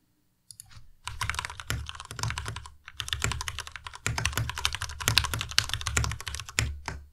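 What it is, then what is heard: Plastic mechanical keyboard. A white compact Ducky Miya Pro mechanical keyboard with plastic keycaps is typed on quickly with the fingertips of both hands. It makes a dense run of crisp, bright plastic clacks over a low thocky body, each keystroke dying away almost instantly. The typing comes in bursts with brief pauses between them.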